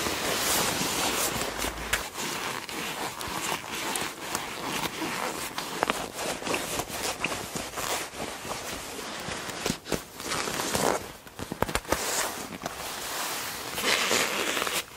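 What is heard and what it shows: A black leather jacket, likely faux, lies flat on a bed while hands with long black-painted nails lift, squeeze and rub its soft, hollow body. The result is a continuous, dense crinkling and rustling with bright, crackly creaks of the leather and little low end. Sharper squeaks and scrunches rise out of it throughout.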